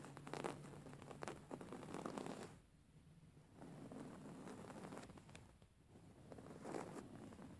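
Long fingernails scratch and rub a soft, stuffed white cotton pillow with raised embroidery, producing quiet, dry scratching and crackly rustling. The sound swells and fades in waves, dropping to a faint, muffled rubbing around the third second and again near the sixth before brighter scratches return.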